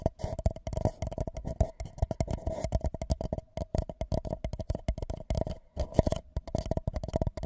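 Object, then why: Empty paper cup. An empty white paper cup held over a microphone is tapped and scratched with the fingertips and nails of both hands. Rapid, dense taps give deep, hollow thumps with a steady resonant tone, mixed with soft scratching. Each tap is dry and dies away almost at once.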